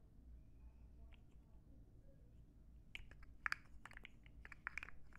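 A rainbow plastic slug fidget toy, about 15–20 cm long and made of hollow interlocking plastic segments, is held in both hands and flexed or shaken so the segments click against each other. After about three seconds of quiet low rumble, a quick cluster of sharp, bright, dry clicks begins and continues to the end.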